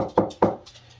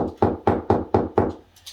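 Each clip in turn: First: Two short, firm taps with a mid pitch and almost no ring: drywall sounding solid over a stud. Second: Five even, dull knocks with a boxy low-mid thud and almost no ring: drywall sounding hollow between studs.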